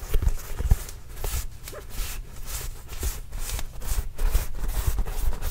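Fingertips tap a hollow, inflated Spalding Trail Blazers autographed leather basketball, producing soft, deep thumps with very short ring. Faint bright brushing swishes of skin on leather run between the taps in a steady, irregular rhythm.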